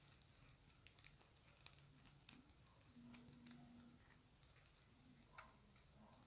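Long acrylic nails tap a small, round, dark plastic compact makeup case. The result is a quiet run of short, bright, crisp clicks and light patter over a soft background hiss, with a faint low steady tone in the middle.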